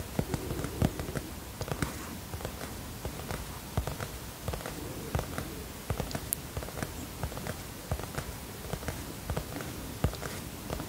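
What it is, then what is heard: Hardcover notebook tapped. Fingertips tap the cardboard cover of a teal hardcover notebook held tilted in both hands. The result is a steady run of soft, dull, low-pitched taps that die away quickly over a faint, quiet background.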